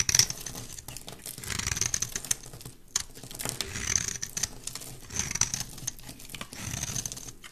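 A rectangular, solid cream-white bar of soap is held in the hand and shaved into curls with a metal blade. Dense, crisp scraping and crackling strokes follow one after another, bright and high-pitched with little low end.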